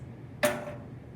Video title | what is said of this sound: Science: Drop Chamber | it didn't bounce it was just like a quick it just stopped